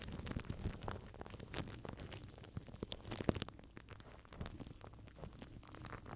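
Fingertips and nails scratch and tap clear plastic cling film wrapped tightly over a black microphone mesh head. The result is a steady stream of crinkly, rustling scrapes and soft, muffled taps. Most of the energy is low and thumpy, with only faint brightness.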